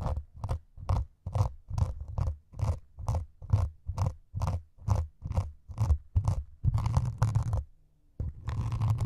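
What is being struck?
Melamine foam sponge.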